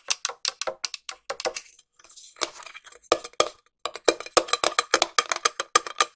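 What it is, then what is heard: Round metal tin. A small, round, hollow silver metal tin is tapped on its side and lid with long nails. The taps are quick, clicky metallic ticks that come in irregular bursts, some fast and some slow. A quieter, softer scratchy stretch sits in the middle before the tapping picks back up.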